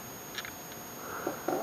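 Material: Nothing is struck.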